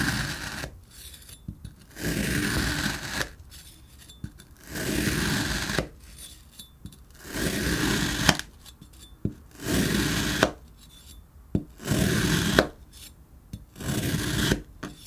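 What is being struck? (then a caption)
Block of kinetic sand cut with a plastic blade. A green plastic cutter blade repeatedly presses and slices through a small, solid pink block of kinetic sand, cutting it into stacked layers. Seven separate, roughly second-long gritty scraping swells are heard, with quiet pauses and small soft clicks between each cut.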